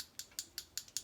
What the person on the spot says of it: there's a ball in here you can hear it shake it all up get everything mixed together